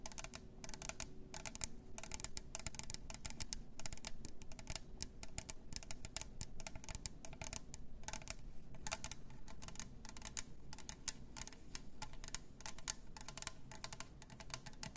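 Long nails rapidly tap and scratch the sides of a hollow pink glitter plastic tumbler with a lid and straw. The result is a dense stream of quick, bright clicks and light scrapes that die away almost instantly, over a steady low hum.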